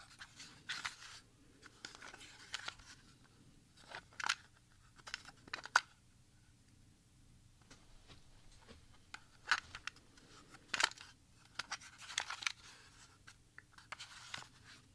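A small, hollow Sony CDit 74 plastic audio cassette, with a black plastic shell and tape reels inside, is held in both hands and flipped while the reel area is pressed and rubbed with a thumb. This gives sharp, dry plastic clicks and crackly rubbing in scattered bursts, with quiet gaps between them. The sound is bright and thin, with almost no low end and no ring after each click.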